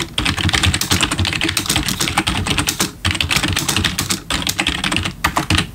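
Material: Plastic.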